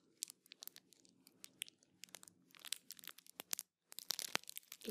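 A small yellow cardboard box holding a bar of soap is held in both hands and scratched and tapped with long painted fingernails. Quiet, rapid, bright clicks and dry scratchy crinkles come in uneven bursts over a faint low hum, with a brief silence just before the last second.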